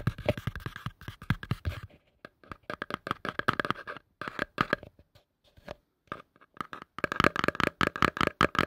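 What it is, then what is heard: Plastic bowl. A pale yellow plastic bowl, hollow and empty, is held upside down over the mic and tapped and scratched with fingertips and nails. Rapid bursts of dry, clicky taps mixed with light scratching carry a hollow ring near 600 Hz, broken by short pauses. The taps stop almost instantly, with no lingering ring.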